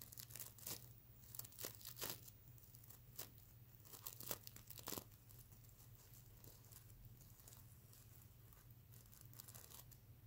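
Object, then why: Sequin-covered plush pillow. Fingernails scratch and flip the iridescent plastic sequins on a soft stuffed mermaid unicorn plush pillow. Crisp, bright, crinkly rasps come in quick bursts over a steady low hum. The scratching is loudest and sharpest in the first five seconds, then settles into softer, continuous rustling.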